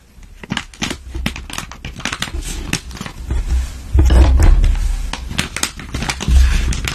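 Long patterned nails and fingertips rub, scratch and press a flat gold-and-clear metallized plastic zip pouch holding a silicone face mask as it lies on a table. Dense, irregular crinkles and sharp scratchy ticks follow each other quickly over a low rumble. The handling grows louder and fuller from about four seconds on.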